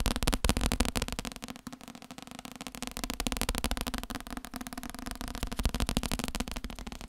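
A thick, solid paperback book with a paper cover is held up and tapped with the fingertips along its cover and page edges. Rapid, uneven fingertip taps form a dense stream of short, dull knocks with a low, papery thud and almost no ring. A brief softer patch comes before the tapping builds again.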